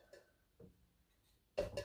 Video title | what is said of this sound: Thirtorama - How many thrift stores did we go to? | whatever they are made out of it's Hollow you can hear the hollowness